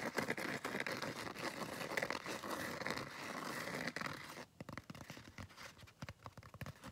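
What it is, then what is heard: Foam scrub sponge. Fingernails scratch across the rough surface of a palm-sized blue textured foam scrub sponge. A dense, steady raspy scratching runs for about four seconds, then breaks into quicker, separate short scrapes with brief gaps between them.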